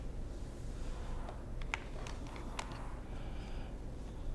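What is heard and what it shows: Fingertips tap and press the keys of a hollow black plastic wireless keyboard, giving a few sharp, bright clicks over a steady low rumble. The clicks are short and dry, with a couple standing out louder than the rest.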